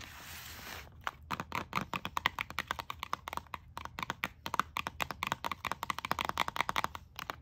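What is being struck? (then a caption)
Plastic hairbrush and comb in a plastic blister pack. Long acrylic nails tap and scratch a pink plastic hairbrush and comb set sealed in a clear plastic blister on a card backing. A brief soft scratchy hiss gives way to a fast, uneven run of dozens of sharp, bright plastic clicks and taps with almost no ring.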